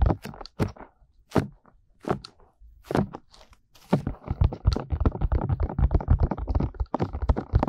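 Fingertips of both hands tap and rub the soft, hollow silicone ear molds of a 3Dio binaural microphone. Spaced, dull low thumps with brief crackly rubbing come first, then the tapping turns into a fast, dense run of muffled bassy thuds and scratchy rustles.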